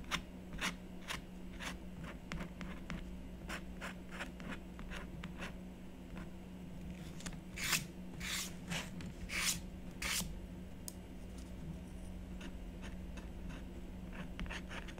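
A stylus scratches short strokes into the black coating of a scratch art board, coated paper on cardboard, steadied by one hand. Many brief, crisp scraping ticks sound over a low steady hum, with a few longer, louder rasping strokes near the middle.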